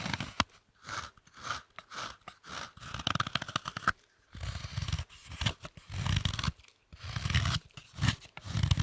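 A knife shaves and scrapes a thick, large, solid slab of dark chocolate held in the hands. It makes a series of short, rhythmic scraping strokes with crisp, crunchy clicks, brighter in the first half and lower and fuller in the second.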